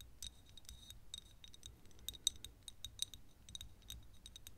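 Long nails tap a small, thick glass perfume bottle that is partly full of yellow liquid. The result is a quiet, irregular run of sharp, dry clicks with a bright glassy tick near 3.8 kHz. Each click dies away almost instantly over a faint low rumble.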